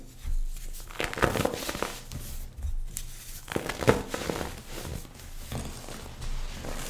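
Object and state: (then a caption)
Compressed baking soda chunk crumbling. Two bare hands squeeze a palm-sized chunk of compressed white baking soda over a pile of loose powder, crushing it with their fingertips until it crumbles into powder. Soft, dry crunching and crinkly crackles come in uneven bursts over a muffled low rumble, with short bright crumbles that stop quickly.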